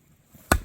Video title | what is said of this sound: #지리산에서 놀자12(장작패기,땔감마련) | 돌 소리가 나는데. 그거 쪼개기 진짜 힘들다.